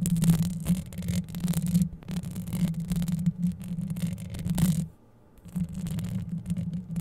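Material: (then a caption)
Metal mesh. Long yellow acrylic nails scratch and brush across the hollow, dark metal mesh grille of a microphone head. The result is a dense, continuous rasping scrape over a strong low, buzzing hum around 180 Hz. The sound drops to near silence for about half a second just before the 5-second mark, then resumes.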